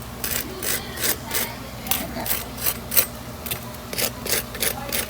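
Fried aloo tikki (potato patties) give a series of about ten short, dry, rasping crunches with bright, high hiss over a faint low hum. The crackle shows a crispy crust.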